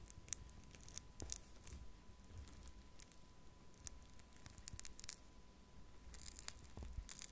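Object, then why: Foam bead clay in a plastic cup. A thin wooden stick pokes and scratches into pink pearl clay made of tiny foam beads, packed in a small clear plastic cup held in one hand, with a second untouched cup sitting nearby. It produces quiet, crisp crackling and tearing scratches with bright, sharp bursts over a soft low rumble and a faint steady tone.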